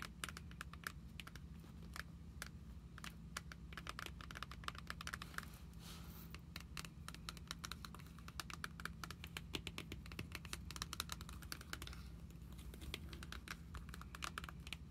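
Long acrylic nails tap and scratch across the clear plastic sleeve pages of an open trading card binder holding cards, lying flat on a wooden table. A quick, continuous patter of sharp, bright clicks with short scratchy brushes sits over a steady low hum. The taps stay quiet and dry, each dying away almost instantly.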